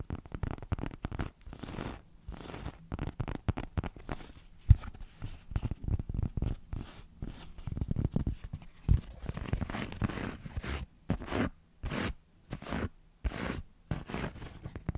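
Long nails scratch and rub a flat, solid, red textured EVA foam cutout shaped like an X. It makes dense, dry scratching with a muffled low body and little high content, in quick bursts that become more separated, rhythmic strokes with short pauses toward the end.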